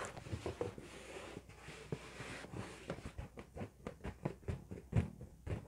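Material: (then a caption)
Latex. A large, inflated, red LED-lit latex balloon, hollow and air-filled, is held in both hands and rubbed and tapped with fingertips and painted nails. A soft, hissing rub comes first, then a run of quick, dull, low taps that stop almost at once.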